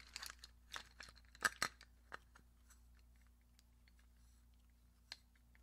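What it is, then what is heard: Glass brush holder tapped with nails. A small, hollow, clear glass vase filled with paintbrushes and pencils is held in one hand and tapped and scratched on its side with long acrylic nails, the brushes inside rattling a little. About eleven quiet, sharp clicks and scrapes land in a loose cluster early on, with bright glassy ticks near 1.6 kHz that die away almost at once. A lone tap follows after a pause, over a faint steady low hum.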